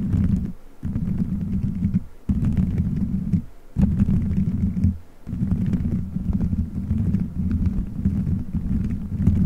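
Fingertips squeeze, rub and scratch colorful gelatin gummy bears stuck all over a solid dome-shaped microphone head. The result is a dense, muffled, low rumbling squish with faint sticky crackles, broken by a few brief quiet pauses as the handling stops and restarts.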